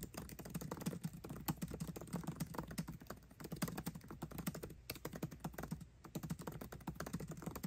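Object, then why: Laptop keyboard with plastic keys. Both hands type fast with their fingertips on a 13-inch aluminium MacBook Pro keyboard with backlit black plastic keycaps, tapping the keys continuously. The result is a dense stream of short, dry clicks with a soft low thump under each press, broken by brief pauses near the five- and six-second marks.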